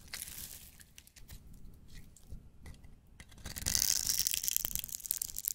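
A knife blade scrapes and shaves pink crumbs from the top edge of a solid, hand-sized pink striped soap bar held in the hand. Soft, dry crackles and crunchy scrapes come in uneven strokes. Halfway through, the shaving grows louder into a dense, bright, hissing rasp.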